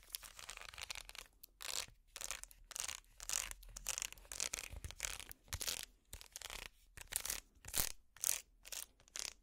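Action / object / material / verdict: scrape / small woven wicker basket / wicker / none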